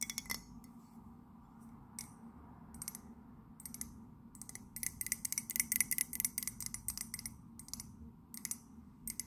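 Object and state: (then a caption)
Ceramic mug. Long nails tap the outer wall of an empty white ceramic mug printed with a London landmark. The taps come as quick, bright clicks in scattered bursts, thickest toward the middle, each dying away almost at once over a faint steady low hum.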